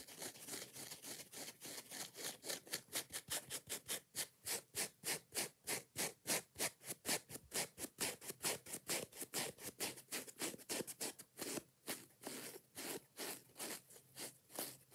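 Long nails scratch fast across the yellow foam block of a kitchen scrub sponge with a scouring pad. About fifty quick, bright, rasping strokes follow one another in a steady but uneven rhythm, each a dry hiss that stops almost at once.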